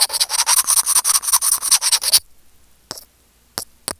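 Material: Plastic.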